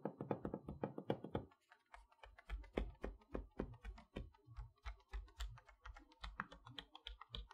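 Long nails and fingertips tap and rub across the clear plastic window of a large, flat Mickey Mouse magnetic chalkboard set box, made of cardboard with colorful wooden letters behind the window and held upright on a table. A quick flurry of crisp, clicky taps opens the clip, followed by looser, uneven taps mixing light plastic ticks with soft, hollow cardboard thumps and brief rubbing. Each tap dies away almost instantly.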